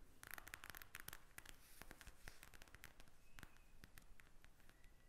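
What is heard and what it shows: Long nails tap rapidly on the beads of a pink plastic gel bead eye mask lying flat. The result is a dense, quick stream of crisp, bright clicks and crackles over a low, soft background rumble, each tap dying away almost instantly.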